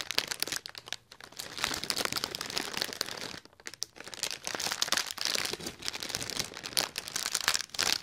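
Fingertips and nails scratch and crinkle the wrinkled surface of a large, hollow, inflated silver mylar foil letter balloon right next to the mic. It makes dense, crisp, bright crinkling and scratching with almost no low end. Brief quiet gaps fall around the first and fourth seconds.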